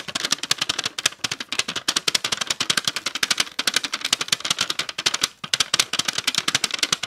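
Long acrylic nails tap quickly on the lid and base of a small clear plastic tub full of purple slime. Around 43 sharp, dry clicks come in rapid bursts with short pauses between them. The taps are bright and crisp, with almost no low end and no ring after each hit.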